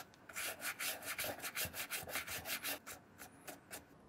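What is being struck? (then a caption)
Leather shoe scrubbed with a bristle brush. A wooden-handled bristle brush scrubs and rubs the leather sides of a hollow brown leather shoe with a slotted side and brass buckle, held in hand. About twelve quick, dry, bright brushing strokes follow in an uneven rhythm, each a short hissy swish with little low end that fades fast.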